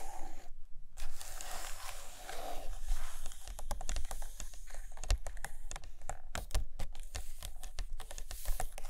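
Long fingernails scratch and tap across both glossy photo pages of a large open hardcover Russian book lying on a carpet. The sound is a steady dry scratching broken by many quick, sharp taps that die away almost instantly, with a faint low rumble underneath.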